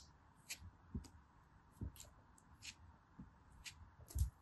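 A small knife cuts and scrapes a hand-sized, solid, compacted orange kinetic sand dome held in fingers with long pink nails, shaving it into crumbly slices. About ten soft, short cutting strokes are heard, each a quiet low thud paired with a crisp, bright gritty scrape that dies away almost at once.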